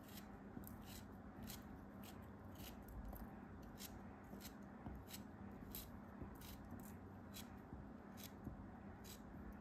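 A small, solid, orange-brown block of kinetic sand, held between fingers with dark nails, is trimmed with a craft knife blade. Soft, bright slicing scrapes repeat at a steady pace over a low, constant hum. The whole clip stays quiet.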